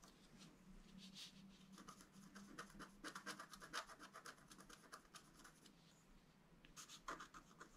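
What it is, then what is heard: Scratch art card being scratched. A wooden stylus scratches a flower between the antlers on a flat black-coated scratch art card lying on a table. Quick, irregular scraping strokes come in bursts, each a short, dry, bright rasp with little ring. A faint low hum sits underneath for about the first half.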